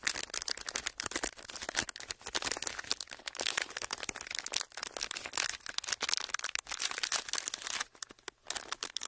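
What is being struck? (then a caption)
Thin ridged plastic packaging sheet. A thin, flat, clear ridged plastic packaging sheet is pressed and crinkled under the fingertips of both hands. It makes a dense, continuous stream of sharp, bright crackles with almost no low end, pausing briefly in a few short quiet gaps before resuming.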